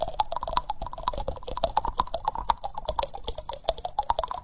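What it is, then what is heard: Wooden spoon tapped with fingertips and nails. Fingertips and nails tap and scratch the solid bowl of a reddish-brown wooden spoon held close to the microphone. The result is a rapid, irregular run of dry, short taps with a hollow woody tone around 900 Hz, mixed with soft scratching and brief bright clicks. Each tap dies away almost at once.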